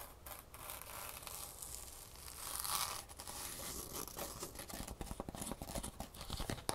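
Long nails scratch the green ribbed-fabric top of a foam shoe insole held over a box. A steady, bright rasping scrape swells around the middle, then breaks into a quick run of sharp scratchy strokes toward the end.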